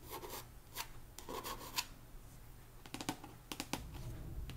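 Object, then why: Paperback book with card cover. Long nails scratch and tap the card cover of the paperback One Dark Window as it lies flat. The sound is a mix of dry, raspy scratching and short, bright taps over a low rumble. Twelve separate taps and scratches stand out.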